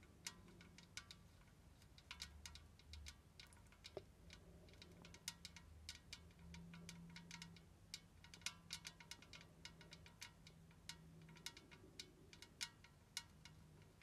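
Long red nails tap quickly and lightly on the sides and lid area of a large, hollow, white-painted tin tea caddy with a domed lid. The taps are bright, thin metallic clicks with very little ring, scattered irregularly over a faint low hum.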